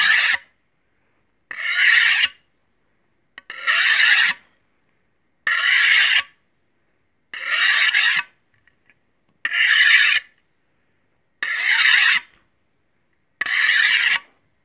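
A solid steel knife blade is stroked along a steel honing rod held horizontally in both hands. Eight bright, rasping metal-on-metal scrapes come about every two seconds, each lasting under a second and separated by silence.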